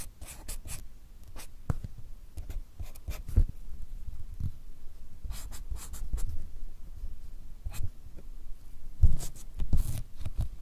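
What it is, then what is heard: Marker drawing on paper cards. A marker pen tip scratches and strokes across a stack of white paper cards held upright while drawing. Short, soft scratching strokes come in irregular bursts over a low, dull rustle, some streaking bright and hissy before fading quickly.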